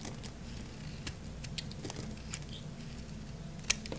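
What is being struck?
Bar soap shaved with a blade.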